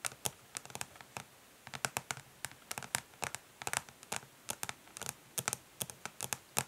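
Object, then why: Plastic makeup palette case. Long nails tap and lightly scratch quickly across the ridged, smoky plastic back of a makeup palette case. The result is a fast, uneven run of short, bright clicks with almost no ring, and soft scraping between them.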